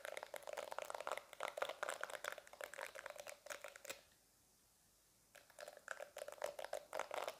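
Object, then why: Silicone face-cleansing brush. Fingertips and nails scratch and tap across the soft silicone bristles and solid body of a small pink handheld silicone face-cleansing brush, held close to the microphone in both hands. The result is a dense run of quick, crinkly scratches and taps with a steady midrange tone near 530 Hz and bright crackle on top. The sound stops for about a second of near silence midway, then resumes.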